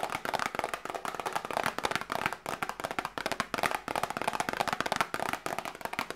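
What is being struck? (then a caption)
Small cardboard medicine box. Long nails tap rapidly on a small hollow cardboard medicine box held up close. The result is a steady stream of dry, crisp clicks centred in the upper midrange, with almost no low end and no ring between taps.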